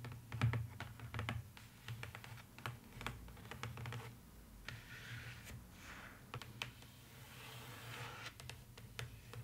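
Long nails tap rapidly, like typing, on the inside bottom of an open, empty, hollow box lined with beige polka-dot paper, likely cardboard. The taps are quick, soft, dry clicks with a short ring, over a steady low hum. Brief soft scratching swishes come in the middle.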